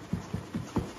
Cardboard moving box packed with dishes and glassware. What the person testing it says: That sounds good to me. If you hear any kind of clinking, even if it's a muffled clink or clank